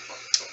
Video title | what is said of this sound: Colouring Book Review & Speed Colour: Fairy Shampoo | When I flick the paper, I can literally hear the thickness when I flick it.